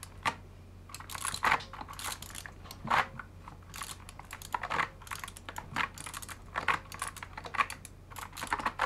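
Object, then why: Mechanical keyboard with PBT plastic keycaps. A full-size mechanical keyboard fully fitted with dye-sub PBT plastic keycaps is typed on rapidly with the fingertips of both gloved hands. The result is a steady stream of sharp, clicky typing taps with bright, short transients and a few louder keystrokes standing out over a low hum.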